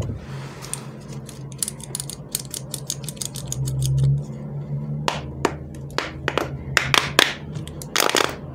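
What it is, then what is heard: Plastic pop tube toy clicking. Both hands stretch and bend the hollow corrugated plastic pop tube between the head and body pieces of a small giraffe fidget toy, making the ribs click and snap. Quick, dry, bright clicks come in a fast run, then in sparser, sharper bursts, over a steady low hum that swells briefly near the middle.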